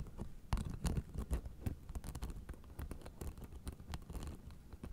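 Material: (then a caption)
Plastic. Long nails tap and scratch across the white plastic spike discs of a blue fabric acupressure mat held flat in both hands. The result is a quiet, irregular patter of quick dry clicks and scratchy scrapes, each dying away almost at once, with a soft low thump under the crisp edges.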